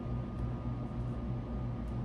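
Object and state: Nothing is struck.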